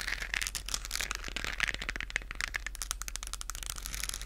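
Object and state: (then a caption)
Plastic globe lamp, scratched and tapped. Long acrylic nails scratch and tap a hand-sized, hollow, lit galaxy moon lamp with a textured plastic shell, held in both hands in front of a fluffy microphone. A dense, steady stream of dry, crackly scratches and quick clicks sounds bright and papery, with a faint tone near 1.8 kHz. Each tap stops dead with no ring.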